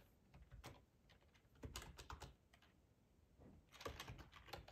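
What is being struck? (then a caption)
Plastic computer keyboard. Fingertips type on a black plastic ergonomic split keyboard with a hollow housing, resting on a cloth tablecloth. Quiet, soft clacky keystrokes with a low, hollow thud come in quick bursts separated by brief pauses, each tap dying away fast.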